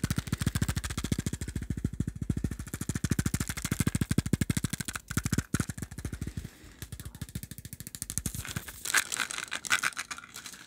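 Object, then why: Small plastic pill bottle with screw cap. Fingertips rapidly tap a small dark plastic supplement pill bottle with a screw cap, held in the hands, while its contents are shaken. A dense, fast stream of hollow, low thumping taps runs steadily, briefly thinning around the middle. Brighter, crisp rattles rise toward the end.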